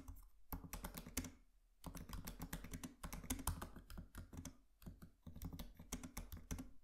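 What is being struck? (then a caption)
Laptop keyboard with plastic keys and a metal body. Both hands tap with their fingertips on a MacBook Pro laptop keyboard with black plastic keys and an aluminium body. The result is quick, soft runs of clicky keystrokes with a low, thuddy body and bright tips. The runs are separated by brief pauses.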